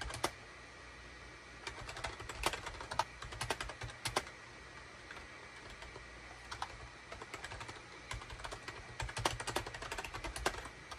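A full-size gray SHIPADOO K600 wired USB keyboard, with a hollow gray plastic case and cream, gray and orange plastic keycaps, sits on a desk mat and is typed on rapidly with the fingertips of both hands. Bursts of sharp, bright plastic clacks die away almost instantly, separated by brief pauses over a faint steady low hum.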